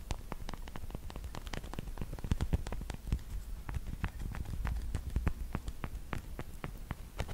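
Long black pointed plastic fake nails, small and hollow fingertip covers, are tapped and clicked against each other in front of the mic. The result is a steady stream of rapid, sharp, dry clicks with bright tops that die away almost instantly, over a constant low rumble.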